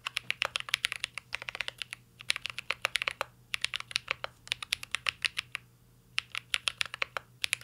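Two hands type steadily with their fingertips on a full-size mint-green Cyberboard R3 mechanical keyboard with a metal case, plastic keycaps and Holy Panda switches, resting on a desk. It makes rapid runs of crisp, bright clacks with very short decay, broken by brief pauses near two seconds and again just before six seconds. A faint low hum sits underneath.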